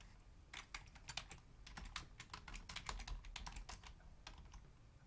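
Long fingernails type on a full-size black plastic Logitech membrane keyboard with a hollow housing, one hand reaching over to the numeric keypad. A quick, uneven run of short, bright clicking key taps rises over a low, soft rumble, each tap dying away almost at once.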